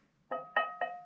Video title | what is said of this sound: Khám phá hang động ( Tập 3 ) : Vào hang - Nhịp Sống Đông Bắc Vlogs | Nó giống như kiểu là một cái đàn